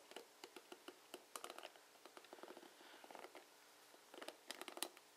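Fingertips and nails strum across the plastic pins of a plastic paddle hairbrush with bristles. The result is quiet, dry, crisp clicks and scratchy flicks, some single and some in quick rattling clusters, each stopping almost instantly with no ring.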